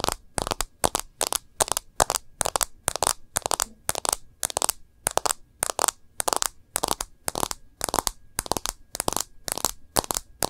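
Long nails tap quickly on the edge of a smartphone's plastic case and on its glass screen. The result is a steady series of short, dry, bright clicks in small clusters, with no ring and almost no low end.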